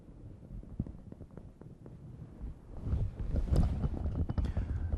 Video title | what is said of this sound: 04a.Physical Exam -Thorax -part 1/2 | the hollow sound of course is air and you're listening for consolidation that would sound more dull